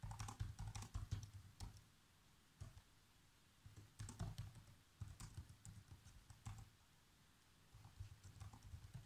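Fingertips type fast on the black plastic keys of a laptop keyboard, typing out a movie script. Quick bursts of soft, low-thudding key clicks with bright ticking edges are broken up by short quiet pauses.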